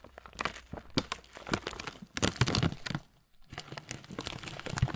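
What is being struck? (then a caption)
Thin plastic bag of oat muesli. A transparent, thin plastic bag partly full of oat muesli is crinkled and squeezed in both hands, giving dense, crisp crackles and crunches with bright rustling edges. The crinkling comes in close-miked bursts, goes quiet briefly just past the three-second mark, then resumes.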